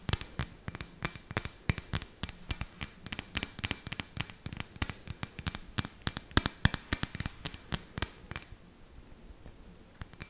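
Long nails tap and scratch a clear, hollow, round glass ornament ball with fairy lights inside and a rope hanger, held in the hand close to the mic. A rapid, irregular stream of short, dry, bright clicks with brief scratchy rasps follows, each dying away almost at once. Near the end the taps thin out to a few soft, scattered hits.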